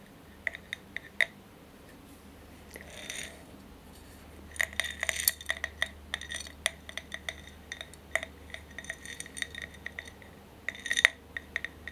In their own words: ASMR tapping and scratching on glass candle holder